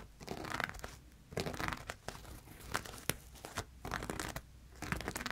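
Fingertips and nails scratch and rub across a large pink cloth laid out flat, densely covered in thread embroidery, sequins and metallic beadwork. Bursts of dry, crinkly scratching and rustling come and go with a bright hiss, broken by a few sharp, quick clicks that die away instantly.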